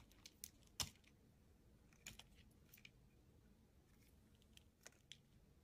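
A solid white soap bar held in the hand is shaved with a utility knife blade, flakes coming off the top edge as the blade slices through. Nine short, dry, bright scraping crunches come at uneven intervals, the loudest near the start, each dying away almost instantly over a faint steady hiss.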